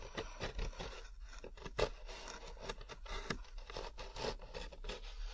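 Fingertips and nails scratch quickly across the ridges of a large molded paper pulp packaging tray, hollow and thin-walled with a rough fibrous surface, held close to the microphone. Quick dry scratches and scrapes overlap in a steady, busy run, with short, bright rasps over a soft low rumble. Each stroke stops dead with no ring.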